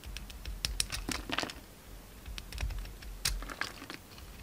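A utility knife scrapes and cuts a hand-sized solid lilac bar of soap with a purple glitter rim, held in the hand. A rapid series of short, crisp, bright scraping clicks and cuts sounds over a low, soft rumble, each snap dying away almost instantly.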